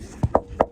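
Three short taps on the plywood deck of a catamaran under a crossbeam, where rubber packing has made a dip that holds water. The taps are dull and solid with a quick, dry stop and no ring. The deck sounds solid enough, though from its look it will probably need replacing.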